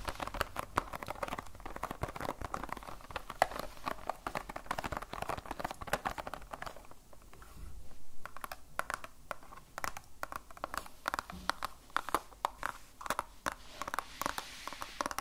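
Long nails tap quickly on a small clear plastic pencil box in a cardboard sleeve, held in the hands with graphite pencils inside. The result is a dense stream of short, dry clicks and light crinkles, with a brief quieter patch around seven seconds before the tapping picks up again.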